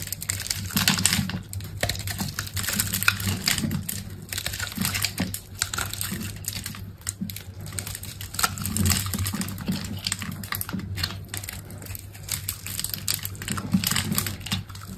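A utility knife blade cuts and scrapes small green cubes off the face of a dry green soap bar with a textured black outer coating, held in the hand. Dense, rapid, crisp clicks and dry scraping crackles run throughout, bright and sharp, over a steady low hum.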